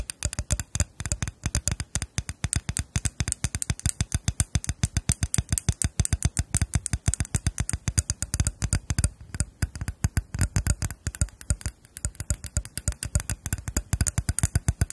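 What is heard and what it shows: Long acrylic nails tap and scratch the glossy bowls of two matching small, solid, hand-painted Khokhloma-style lacquered wooden spoons, one held in each hand. The result is a rapid, steady stream of dry clicks and taps with a low knocking body and a bright edge. Each tap dies away almost instantly.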